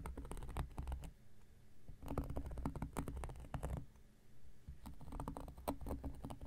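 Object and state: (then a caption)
Cork coaster. An X-Acto knife blade tip rapidly scratches and picks at a round, flat, solid cork coaster. It makes quick bursts of dry, crackly ticking and scraping with a soft, low thump underneath, separated by brief quiet pauses.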